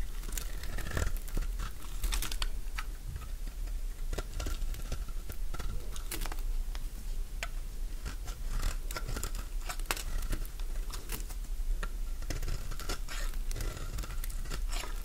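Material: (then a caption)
Soap. A metal blade shaves strips from a mint-green Fa soap bar, carved flat and held in the hand. Many quick, dry crunching clicks and scrapes come in a steady irregular stream over a constant low hum. Each cut snaps off short and bright with almost no ring.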